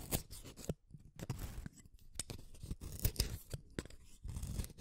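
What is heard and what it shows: A pink wooden colored pencil, a small solid stick, is shaved one at a time by the metal blade of a yellow plastic hand sharpener. It makes a series of dry, crunchy scraping cuts in quick bursts, with short pauses between them. The sound is mostly low and thick, with bright crackling edges that stop dead after each cut.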